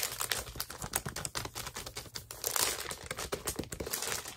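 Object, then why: Paper pad in plastic shrink wrap. Fingertips tap and crinkle the clear plastic shrink-wrap on a large pad of parchment-look paper held upright. Dense, bright crackling and crinkling mixes with quick, sharp taps, mostly high-pitched with little low end. The sound stays busy and fairly quiet throughout, swelling into a louder stretch of crinkling midway.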